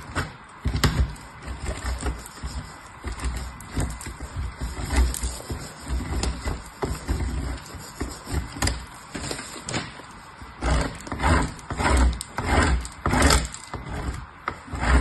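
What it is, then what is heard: Soap bar scraped on a metal grater. A piece of purple soap is scraped by fingertips with long nails across the fine holes of a painted metal box grater. Repeated rough, gritty scraping strokes come in an uneven rhythm, with a low rumble beneath bright, crumbly rasps. The strokes grow louder and sharper toward the end.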